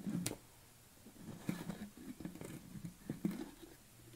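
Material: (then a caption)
Plastic. Fingernails scratch across the top of a yellow plastic lid on a tilted red BCAA tub. The sound is quiet, dry scraping with a hollow low-mid body and a few sharper clicks that stand out from the rustle.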